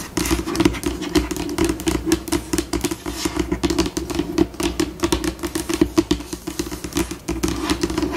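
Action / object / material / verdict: tap / laminate table top tapped with fingernails / laminate / none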